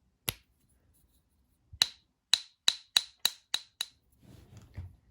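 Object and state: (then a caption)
Counterfeit gold-plated tungsten coin, no ping. A 2009 gold-plated tungsten counterfeit Maple coin, which a coin shop had bought believing it was real, is tapped eight times. Each tap gives only a short, bright, dead thwack that stops almost at once, with no ringing ping. The clip ends with soft, low rustling, and the coin's lack of any ping marks it as fake.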